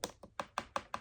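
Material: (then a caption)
Plastic. The plastic bracelet part of a Fallout Pip-Boy 3000 Mk V die-cast replica is tapped six times in quick succession, giving short, dry, light clicks with a hollow mid-high tone and almost no ring. The sound shows the bracelet is high-quality plastic rather than die-cast metal; only the front interface is die-cast metal.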